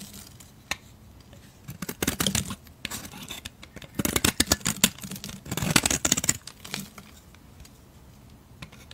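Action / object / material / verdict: scrape / solid bar of soap scraped with a metal blade / soap / none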